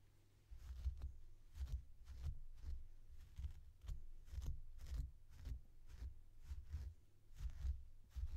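A blue plastic comb is pulled again and again through the long synthetic fur of a small, soft, stuffed purple plush toy. Each stroke makes a soft, muffled, low brushing thump, heard as a steady run of quiet, rhythmic pulses.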